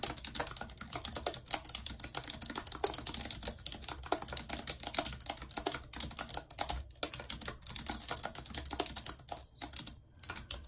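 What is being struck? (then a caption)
Plastic computer keyboard. Long red acrylic nails type rapidly on a white low-profile plastic wireless keyboard with a full number pad and hollow housing, lying flat on a map-printed surface. The result is a dense, continuous stream of sharp, bright plastic clicks and taps with almost no low end, each key stroke dying away instantly, with only a few brief pauses near the end.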